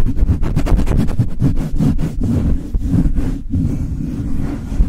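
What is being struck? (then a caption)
Metal mesh microphone grille. Cupped hands and fingertips, with long nails, rub fast over the bare hollow metal mesh grille of a Blue Yeti microphone. The result is a heavy, boomy low rumble of rapid brushing strokes, each giving a short papery swish, with a steady deep throb underneath.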